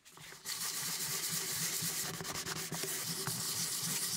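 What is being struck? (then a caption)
Wooden typewriter cover. Gloved hands rub and sand the top and sides of a hollow, curved wooden cover from a 1908 typewriter with sandpaper or a pad. After a faint start, a steady, bright, scratchy sanding hiss begins about half a second in, with a low hollow hum from the wood underneath as the strokes go back and forth.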